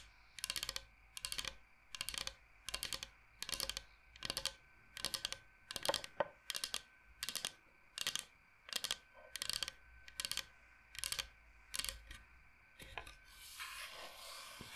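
Fingernails tap on a large, flat, solid bamboo cutting board shaped like Michigan, with some scratching. About seventeen short bursts of rapid, crisp, bright clicks repeat at a steady pace. The clip ends in a brief stretch of hissy scratching across the wood.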